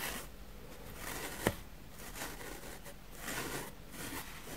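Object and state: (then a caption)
Foam sponge being brushed. A plastic spoolie brush scrapes across a grey, powdery foam sponge block, making soft, breathy scratching bursts with a bright, rustling hiss. One sharp tick stands out around the middle, and the quiet brushing swells and fades in waves throughout.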